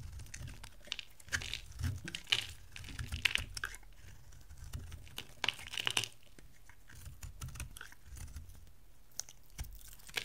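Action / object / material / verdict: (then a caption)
scrape / bar of soap shaved with a knife blade / soap / none. An oval, palm-sized bar of dry soap, yellow with a dark blue rim, is held in the hand and shaved into curls with a metal utility knife blade. Crisp, dry scraping and crackling bursts come in quick uneven runs, bright and papery around 2.5 kHz with a low rumble beneath. Each cut stops dead with no ring.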